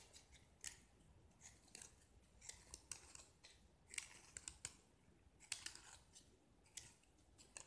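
A small solid gypsum plaster block, painted red outside and white inside, is held in one hand and scraped and carved with a metal knife blade, dropping white-red shavings onto a pile below. Quiet, dry, crisp scraping strokes repeat in quick bursts, bright and hissy with almost no low end. Each stroke dies away almost at once.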